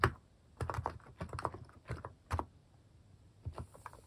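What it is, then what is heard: Plastic mechanical keyboard typing. Fingertips type on a white-case mechanical keyboard with pastel plastic cat-shaped keycaps. Short, muted, low clacks come in uneven bursts with quiet pauses between them. Each keystroke dies away almost at once.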